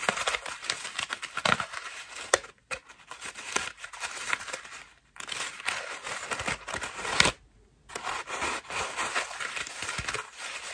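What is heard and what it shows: Long nails scratch the petals of a cream foam bath loofah held in the hands and then brought close, making dense, bright crinkling and rasping with almost no low end. The scratching comes in continuous bursts broken by a few brief silences, the longest near the end.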